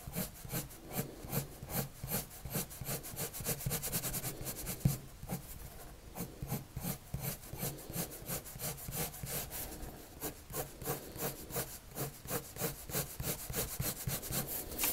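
A blue-and-white colored pencil held in the hand rubs and scratches across a thin, flat white paper sheet lying on a table in steady drawing strokes. The strokes come as a quick, even rhythm of dry, bright scratches over a soft low rasp, with one sharper tick near the middle and a brief quieter stretch just after.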